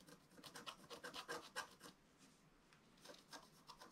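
A wooden stylus scratches across a flat, black-coated scratch-art paper sheet in quick, rhythmic strokes, making a dry, bright, raspy scraping sound. A run of short strokes is followed by a brief quiet pause, then the scratching starts again.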